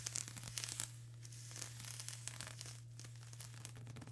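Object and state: Plastic bubble wrap.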